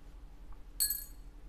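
The original stock saddle taken from a Cort AD810 E OP acoustic guitar is dropped once onto a surface so its clink can be compared with other saddles. It gives a single short, bright clink with high ringing overtones that fade within about a tenth of a second, over a faint low background hum.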